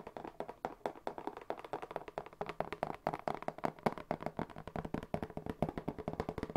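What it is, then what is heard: Cardboard box. A medium brown corrugated cardboard box with a white paper label, hollow, is held up and tapped with fingertips in a quick, steady run of dozens of taps. Each tap is a soft, dull, hollow knock centred in the low-mid range, with almost no bright content. The taps die away almost instantly.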